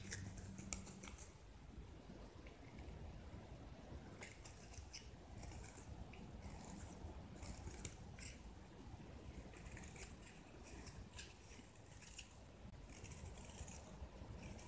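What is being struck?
Painted gypsum plaster block.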